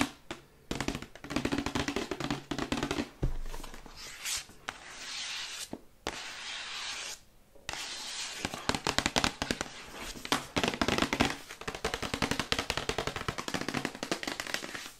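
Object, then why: Printed cardboard box. Long white acrylic nails tap quickly on a glossy printed cardboard Yeti microphone box as it is turned from side to side. Dense, bright clicking taps come in rapid bursts with a faint hollow body, mixed with short scratchy rustles and brief pauses.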